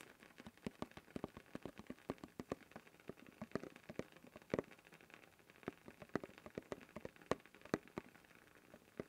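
Fingertips tap and scratch rapidly on the blue plastic lid of a closed, hand-sized cylindrical canister with a paper label, held upright in one hand. A quick, irregular stream of short, dry clicks sounds over soft scratching, with no ring after each tap and a hollow tone around 490 Hz.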